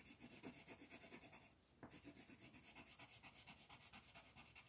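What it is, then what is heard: Pencil shading on paper. A black colored pencil is rubbed and scratched in quick shading strokes across a thin paper coloring book page lying flat on a table, while the other hand holds the sheet. The result is a steady, bright, raspy scratching in rapid rhythmic strokes, with a brief pause partway through before it resumes.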